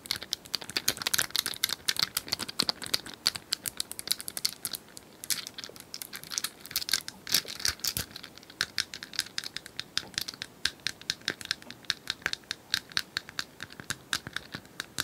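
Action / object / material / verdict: tap / small plastic cylindrical puzzle toy / plastic / none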